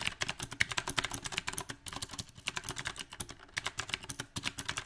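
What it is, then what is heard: Mechanical keyboard with round plastic keycaps. Rapid typing with both hands' fingertips on a compact backlit mechanical keyboard with round plastic typewriter-style keycaps. The result is a dense, uneven stream of sharp, bright clicks that die out almost instantly, with a slight pause in the middle.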